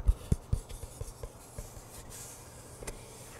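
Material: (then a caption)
Cardboard. Fingertips and nails rub and scratch along the printed side of a tall, hollow, cylindrical cardboard-composite Pringles chip can held horizontally close to the mic. Short, deep, hollow thumps come first, followed by quieter scratching taps and a faint steady rasp.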